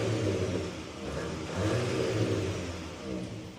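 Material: Nothing is struck.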